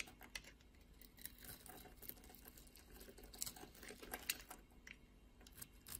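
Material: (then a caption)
Soap. A utility blade scrapes across a solid blue bar of soap held in the hand, carving small cubes off its surface. Quiet, bright, crisp scraping and short ticking clicks come in an uneven patter, with a few sharper snaps as pieces break away.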